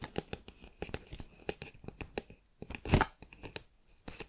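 Long nails tap and scratch the lid end of a cardboard crisp tube held horizontally. A quick, irregular run of dry, crisp clicks and short scrapes with a soft, dull body follows, broken by a brief louder scratch near the three-second mark. Each tap dies away almost at once, leaving a quiet, close sound.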